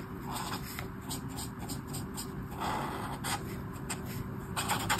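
A brush marker tip scrapes and rubs over a flat paper colouring book page in colouring strokes, making repeated dry, scratchy bursts with a bright papery edge. A steady low hum runs underneath throughout.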